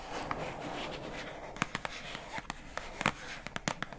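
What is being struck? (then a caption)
Plastic food container lid. Long acrylic nails scratch and tap the labeled lid of a pink plastic food container box held upright. A soft, continuous scratching hiss runs underneath a scattering of short, sharp clicking taps. The taps come more often toward the end, each dying away almost at once.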